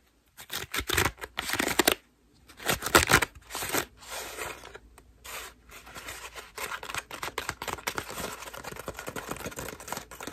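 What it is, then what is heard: Foam bath loofah. A white ruffled foam bath loofah is scratched with long nails close to the microphone, then squeezed. Dry, bright scratching and rustling comes in irregular bursts, louder early on, then settles into a steady stream of fine crackling.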